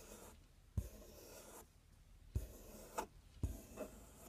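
A fingernail scratches and taps the front panel of a large, empty, open corrugated cardboard box. Soft, dry rasping strokes alternate with four short, dull taps that thud low and die away almost instantly.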